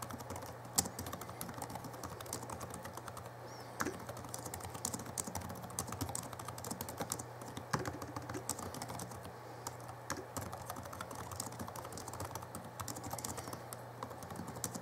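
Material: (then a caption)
Plastic. Fingertips of both hands type on the backlit plastic keys of a small 2011 Alienware M11x2 laptop keyboard. The result is a quiet, steady stream of fast, short, dry clicks, with a few sharper, louder clacks. A low, constant hum runs underneath.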